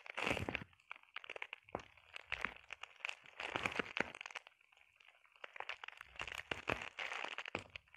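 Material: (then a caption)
Plastic. Long painted nails scratch and tap across a flat sheet of clear plastic bubble wrap with air-filled bubbles. The result is a dense run of crisp, bright crinkling scrapes and sharp little clicks, coming in bursts with a quieter pause midway through.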